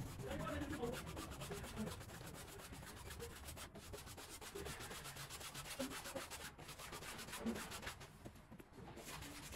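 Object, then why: Woven rug scrubbed with a stiff push broom. A long-handled green push broom with stiff bristles scrubs a small, wet, soapy woven rug on the floor in quick back-and-forth strokes. The result is a steady, rapid rasping swish with a bright, hissy top and soft low thumps under each stroke, running continuously for the whole clip.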